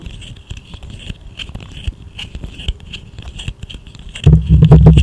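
A small, hollow, segmented plastic fidget slug toy is held between both hands close to the microphone, bent and wiggled so its segments click and rattle while long nails scratch along its ridges. Quick, uneven clicks and soft scrapes sit over a low rumble, then the handling grows much louder and fuller in the last second.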